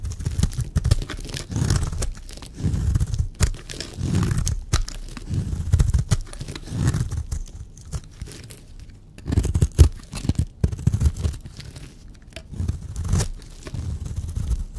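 A blade shaves and scrapes a solid, dry purple bar of soap, producing repeated low, dull crunching and crumbly tearing sounds in bursts with brief pauses between them.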